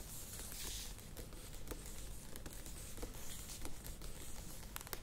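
Long nails tap rapidly on the sides of a medium plastic yogurt tub standing upright. The result is a quiet, steady stream of light, dry clicks with bright edges that die away almost instantly, over a low, constant rumble and soft airy hiss.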